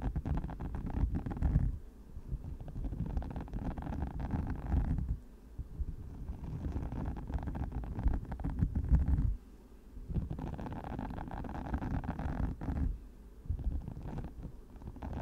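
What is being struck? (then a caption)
Silicone spiked microphone cover. Long matte nails scratch across the many small flexible spikes of a hand-sized orange silicone cover fitted over a microphone. The result is a dense, low, rumbling scratching that comes in long continuous bursts separated by brief quieter pauses, with very little high-end content.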